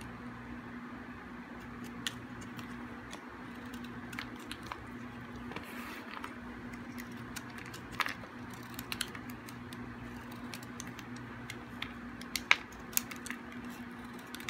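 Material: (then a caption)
Soap. A small, hard, dry piece of solid green bar soap is shaved with a metal blade, giving quiet, crisp scraping and sharp clicking flakes scattered through the clip. The sounds sit over a steady low hum, with occasional brighter, louder snaps standing out.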